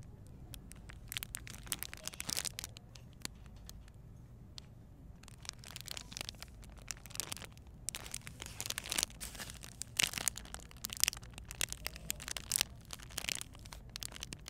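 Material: Plastic.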